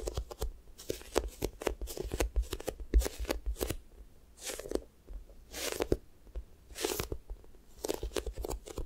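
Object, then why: Foam squishy toy with a sticky skin. Long nails and fingertips press, tap and peel off the sticky skin of a pink square toast squishy made of soft, solid foam. Quick dry ticks and taps come in a steady run, broken by longer bright, crackly sticky peeling bursts as the surface pulls away, with a soft thumping low end throughout.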